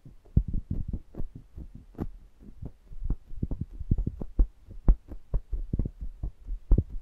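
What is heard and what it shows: A fingertip presses and rubs across the metal mesh grilles of two small pencil condenser microphones angled toward each other, touching both capsules at once. It produces a rapid, uneven series of short, deep, muffled thumps with a low hum beneath, each dying away almost instantly with little brightness.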